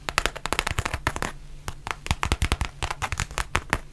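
Long nails tap and scratch a black textured faux leather zip pouch held up close, making a rapid, uneven run of dry, crisp clicks with soft low thumps beneath. Each tap is short and bright with no ring, and there is a brief quieter scratching lull near the middle before the tapping picks back up.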